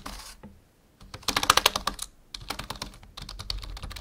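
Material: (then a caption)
Plastic. A full-size black plastic membrane keyboard on a wooden desk is typed on with the fingertips of both hands. Quick, dry, bright clicks come in bursts: a short run, a brief pause, then a dense flurry of louder keystrokes, then steadier typing to the end. Each click dies away almost instantly, with little low end.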